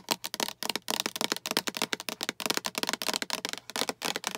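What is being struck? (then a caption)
Plastic storage box. Long acrylic nails tap rapidly on a hollow, translucent green plastic storage box with a patterned side and a latch handle. The sound is a quick run of bright, crisp plastic clicks, mostly high-pitched with almost no low end. Each tap stops almost at once, with no ringing.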